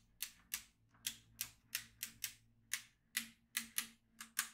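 A yellow magnetic pen is drawn over the grid of a black plastic magnetic drawing tablet filled with steel beads, making the beads click. Thirteen sharp, bright clicks come at an uneven pace, each dying away quickly with almost no low end.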